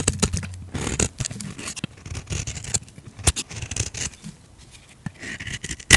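A utility knife blade scrapes curls off a solid, hand-sized bar of pink soap held in a hand with long red nails. Quick, dry scraping strokes with bright, crisp edges and a soft low thud follow one another irregularly, and a sharp click closes the clip.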